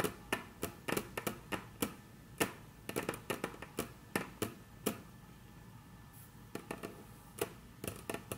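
Very long natural nails tap and trace across a flat, solid, dark brown wood-grain tabletop. Sharp, dry, bright clicks come in quick irregular bursts, each dying away almost at once, with faint scratchy tracing in the quieter gaps.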